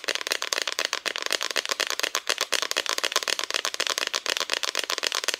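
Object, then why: Flat painted wooden cutout decoration. Long nails tap rapidly and steadily across the front of a flat, solid, painted wooden Christmas decoration cutout. The quick, dry clicks are bright and crisp, with almost no low end and no ring.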